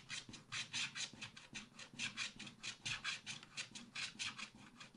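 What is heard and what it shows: A wooden stylus scratches the coating of a thin black scratch-art card in a spiral pad with short, rapid strokes in the background. The result is a dry, bright, raspy scratching in quick repeated bursts, with almost no low end.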